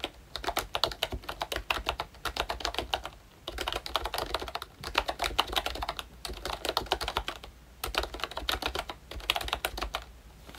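Fingertips type on a full-size ROYCHE Disney Mickey Mouse retro membrane keyboard, with a hollow plastic case and round plastic keycaps. Bursts of quick, bright plastic clicks and soft thuds come in runs, separated by brief pauses. Each keystroke is short and dry, with almost no ring.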